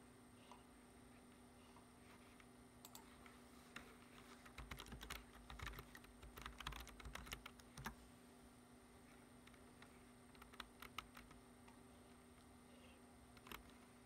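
Fingertips tap the keys of a dark plastic computer keyboard resting on a wooden desk, producing short, sharp clicks over a steady low background hum. The typing comes in scattered taps, builds into a dense flurry in the middle, then thins back out to a few isolated bright clicks.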